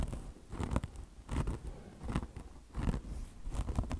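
Long blue nails scratch the mesh of a mesh-covered microfiber car wash sponge resting on marble. The result is irregular bursts of dry, crunchy, rasping scratches, heavy in the low end with brief bright ticks, separated by quieter gaps.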